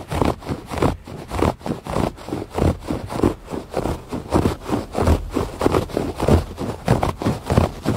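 Fingernails scratch the pile of a thick woven fabric rug lying flat on a porch floor. About nineteen dull, rustling scrape strokes follow one another at a loose, uneven pace. The sound is muffled and low-heavy, with little brightness.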